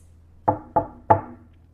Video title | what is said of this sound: Guqin lengths, styles, and tables | this table's wood is very dense. So when I if I knock on it, it sounds like this.